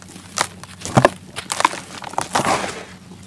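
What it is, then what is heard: Dry sand-cement clumps crumbling. Bare fingers crush solid, gritty chunks of dry sand-cement held over a white plastic basin, rubbing them apart into falling powder. Short, dry, crunchy crackles come in uneven bursts, with brief gritty crumbling between them over a quiet background.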